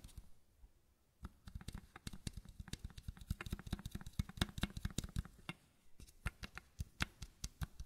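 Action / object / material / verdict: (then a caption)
tap / small plastic bottle with square cap / plastic / none. The square cap of a small matte white plastic bottle is tapped with the nails and fingertips, giving 31 quick, dry clicks, each a soft low thump with a bright tick. The taps start after a second of near silence, come in a rapid, uneven run, ease off briefly around five and a half seconds, then resume.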